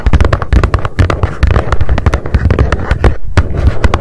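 Long nails tap rapidly on the top of a small, hollow, white printed cardboard mailer box resting on a fluffy mat. The result is a dense, steady stream of quick, dull, hollow thuds, heavy in the low end, with short clicky attacks that die away almost at once.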